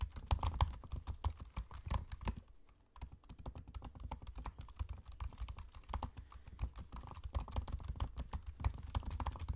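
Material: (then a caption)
Plastic. Fingertips type on the low-profile black plastic keys of a space-grey aluminium laptop with its trackpad visible. The result is a fast, irregular stream of short, soft, dull clicks with a heavy low thump, briefly pausing near the three-second mark before continuing steadily to the end.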